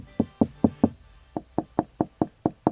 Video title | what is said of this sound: Whole Home Audio Start 2 Finish EP2: Location Prep, Running 1st Keypad, WIFE Cuts WHOLE In Wall! | you can actually hear the difference. So if I knock right here, you can hear that this is solid right here